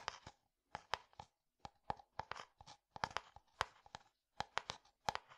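Fingertips tap a medium, translucent, frosted plastic jar that is held upright, hollow and apparently empty. The taps come in quick clusters of short, dry, hollow clicks with a tone around 1 kHz and a bright edge, and each one dies away almost at once. Brief silences separate the bursts.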